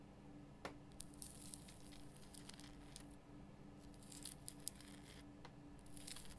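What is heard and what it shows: Long fingernails scratch the rough crystal surface of a large, solid pink Himalayan rock salt lamp, producing quiet, dry, crackly scrapes with bright, sharp ticks scattered throughout. A steady low hum sits underneath the whole time.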